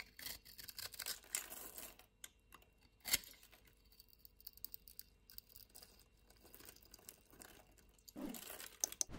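A utility-knife blade scrapes the diagonally scored surface of a solid white soap bar held in the hand, shaving it into crumbly flakes. The sound is a bright, dry, crackly scraping that comes in bursts, with one sharp loud scrape partway through, a quieter stretch of light crumbling, and a final rush of scraping near the end.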